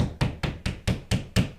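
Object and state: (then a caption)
Drywall over a stud, solid. Six quick, dull, low thuds from pounding on drywall over a wood stud, each with a short, solid knock that dies away fast. The hard, solid sound marks the spot as a stud.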